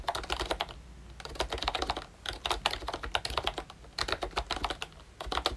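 Fingertips of both hands type on a ROYCHE Disney Mickey Mouse retro plastic membrane keyboard with round brown keycaps, a pink frame and a Mickey badge. Soft, muted clacks come in quick bursts with brief pauses, each keystroke short and bright with little ring.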